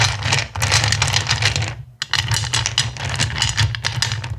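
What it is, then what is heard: Pile of clear acrylic gems. Both hands with long nails scratch and rake through a pile of small, solid, clear acrylic gems in a black bowl. Dense, bright clicking and rattling runs continuously over a steady low hum, with a brief pause near the two-second mark before the raking resumes.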